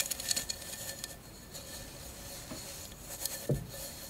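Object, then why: Glass mosaic candle holder. A tall, hollow, empty candle holder covered in glass mosaic tiles is tilted to show its clear glass base and lightly tapped a few times with long acrylic nails. The taps are short, bright clicks with almost no ring, clustered at the start, with a slightly heavier tap near the end over a quiet background.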